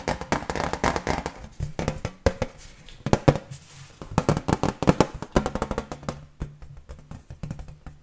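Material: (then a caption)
Iron. An iron decoration shaped like a famous film star is tapped quickly with fingers, giving a fast, uneven run of dozens of short, dull metallic knocks. The knocks have a low, hollow body with very little ring, and some louder clusters stand out against quieter taps.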